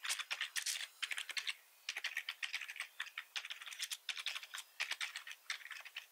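Both hands type quickly with their fingertips on a black plastic membrane-style computer keyboard with a hollow body. The result is dense, bright, clicky keystrokes with almost no low end, coming in rapid bursts with short pauses around 1.6 and 3.3 seconds.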